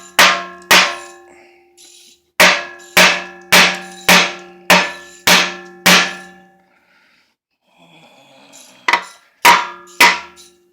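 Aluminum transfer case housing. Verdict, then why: Loose. A hammer strikes an aluminum transfer case housing 12 times to split its halves, each blow giving a bright metallic clang with steady ringing tones that fade quickly. The tone is turning hollow, showing the sealed joint is starting to come loose but has not yet separated.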